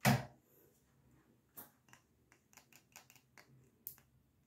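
Fingers tap on a Star Wars themed candle in a jar, producing a loud opening knock followed by a string of light, quick taps. The taps are short and dry, with faint clicks in between.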